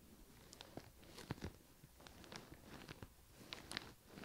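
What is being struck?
Leather handbag.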